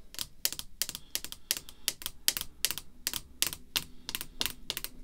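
Long red fingernails tap on a clear rigid plastic holder containing a vintage baseball card, which lies flat on black cloth. About 21 quick, bright, clicky taps come in an uneven rhythm, each dying away almost instantly with little low-end body.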